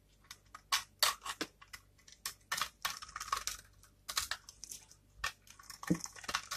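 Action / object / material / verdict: scrape / dry soap bar / soap / none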